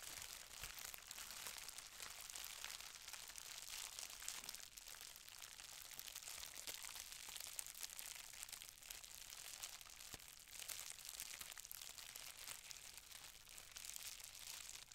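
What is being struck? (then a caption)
Plastic bubble wrap sheet. A folded, green-tinted plastic bubble wrap sheet is held in both hands while long-nailed fingers crumple, squeeze and rub it. The result is a steady, bright, high crinkling and crackling with many small sharp snaps that continues throughout, set against a quiet, low-level background.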